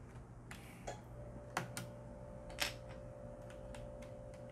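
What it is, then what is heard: Mechanical keyboard switches. Fingertips press the keys and exposed red plastic switches of a Corsair mechanical keyboard that has several keycaps removed, with the switches sitting on a metal plate. Sparse, irregular sharp typing clicks with bright attacks stand out over a quiet background, joined partway through by a faint steady tone.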